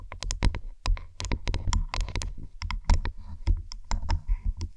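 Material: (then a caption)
Faux leather. Long acrylic nails and fingertips tap and scratch along the stitched, padded faux-leather headband of black over-ear headphones with metal sliders, resting over a binaural microphone. About two dozen quick, dry, clicky taps come in an irregular patter, each with a deep, muffled thump underneath and a brief bright tick on top that dies away almost instantly.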